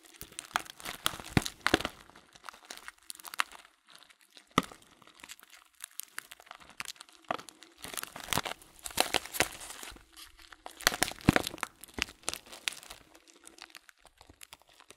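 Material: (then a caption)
Plastic. An open, transparent plastic bag full of loose dried fruit tea pieces is squeezed and crinkled by hands, and the contents shift inside. Many dense bursts of bright crinkling and crunching come in uneven clusters across the clip. Short quiet gaps sit between them, and a faint low hum runs underneath.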